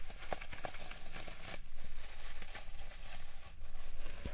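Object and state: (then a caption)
Floral foam block being crushed. Fingertips with long nails repeatedly press and crush into the surface of a large solid green floral foam brick resting on a wooden tray, leaving dents. The result is a steady run of soft, dry crunching and crinkling crackles over a low rumble.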